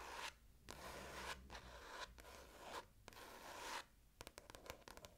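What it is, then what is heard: Paperback book cover. Long nails scratch and rub the glossy card front cover of an orange paperback book held up, solid and closed. Several long, bright, hissing scratch strokes sweep back and forth, then the sound ends in a quick run of short, crisp ticks.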